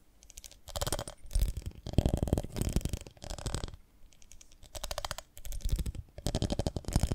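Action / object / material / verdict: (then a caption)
tap / ribbed glass jar of honey / glass / none. Long nails tap the ribbed sides of a beehive-shaped glass jar full of honey, held in the hands with its glass lid and dipper in place. Bursts of rapid, dry clicking taps with a dull low body come in several runs separated by short pauses.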